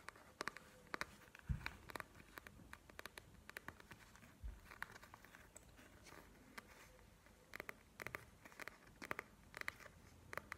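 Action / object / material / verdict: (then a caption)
tap / plastic gel-bead eye mask / plastic / none. A plastic panda gel-bead eye mask is first tapped while lying flat on a table, then lifted and scratched with long nails. Quiet, sharp, crinkly clicks and taps come in irregular bursts over a faint hiss, with two dull low thumps early on. Each tap is bright and dies away almost at once.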